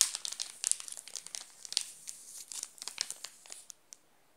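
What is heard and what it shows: A wrapped Nestlé chocolate bar in a plastic film wrapper is scratched and rubbed with fingertips, giving dense, bright crinkling. Sharp, crackly bursts come in quick succession, thin out toward the end, and leave a couple of last isolated crackles before silence.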